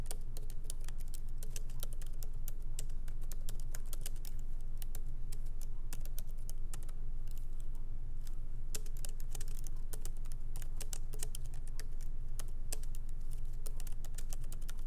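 Light typing with the fingertips of both hands on a MacBook Pro laptop keyboard, its small plastic keycaps set in an aluminum body, resting on a wooden desk. Quick, short, dry key clicks patter at an uneven pace over a steady low hum throughout.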